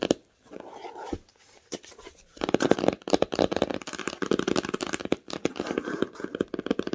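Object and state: Cloth-bound hardcover book.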